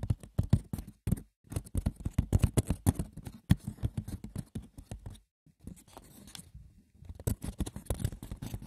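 Fingers scratch and tap the textured woven surface of a wicker basket, making a dense patter of light, dry clicks and scratches with a low, thumpy body. The sound breaks off in brief pauses around 1.3 and 5.3 seconds, continues softer for a stretch, then picks back up to a busier scratching toward the end.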